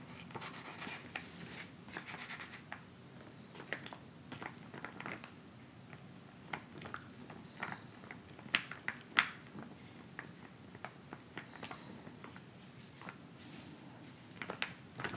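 Fingertips tap and scratch the surface of a flat, filled, white plastic instant cold pack pouch lying on fabric. The result is quiet, irregular crinkly taps and short scratches with a bright plastic edge, plus a few sharper, louder taps midway through, all fading almost instantly.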